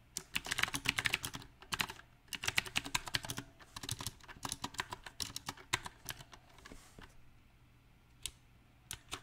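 A compact backlit mechanical keyboard with round plastic typewriter-style keycaps is typed on with the fingertips. Bright, short clicking key taps come in uneven bursts with brief pauses. The typing thins to a few scattered taps near the end.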